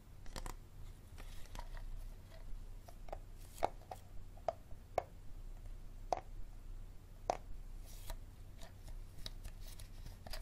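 Fingertips and nails tap and scratch the side and ribbed bottom of an empty, hollow, clear plastic Dasani water bottle with a label and green cap, held in both hands over a wooden table. Quiet, sharp plastic taps with a hollow tone around 760 Hz alternate with soft scratching rasps over a steady low hum. Each tap is brief and dies almost instantly.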